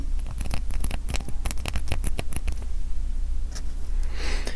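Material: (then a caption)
Acrylic. Light taps on a mini acrylic standee, a 1/3 inch thick slab of UV-printed acrylic that feels well made. The clip is a rapid run of short, dry clicks with almost no ring, riding over a steady low hum. Near the end the taps thin out and give way to a brief bright rustle.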